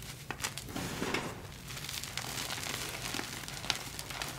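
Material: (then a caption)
Magnesium carbonate. Hands scoop, squeeze and crumble a fine mound of orangey-red dyed gym chalk (magnesium carbonate) powder between fingers and palms. The result is a soft, steady, bright crunchy crackle with short crisp bursts scattered throughout.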